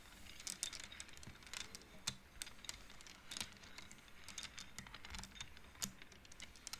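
Both hands slide and flick the painted wooden beads on an upright wooden-frame abacus, so they click against each other. Quick, dry, bright clicks come in irregular bursts over a quiet background, each one dying away almost at once.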